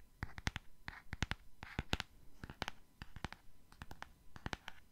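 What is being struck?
Small cardboard box.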